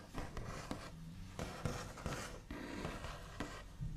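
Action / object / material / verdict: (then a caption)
tap / wooden table top / wood / none. The backs of fingernails tap and trace across the large, solid, smooth top of a white-finished wooden table. Soft, dull taps with a short, dry decay are mixed with scratchy rubbing and brushing strokes. The sound is quiet and weighted toward the low end, with only faint bright scratching on top.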